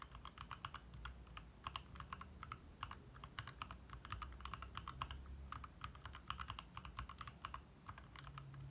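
Fast fingertip typing with both hands on a compact 60% backlit mechanical keyboard with lit plastic keycaps. It gives a rapid stream of short, crisp clicks that ring around 1 kHz with bright upper edges, over a low, steady rumble in the background.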